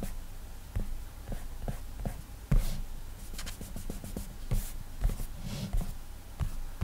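Fingertips rapidly rub and scribble across the flat glass touchscreen of an iPad in many short strokes. Soft, bright swishing is heard over low, dull thumps as each stroke lands and lifts, with the sounds coming in quick, uneven bursts.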